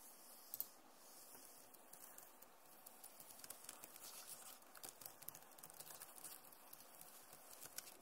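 Fingertips and nails of both hands tap and scratch the plastic keys of a backlit Acer laptop keyboard. The result is a quiet, steady patter of short, dry clicks with a bright, scratchy edge and several sharper taps standing out.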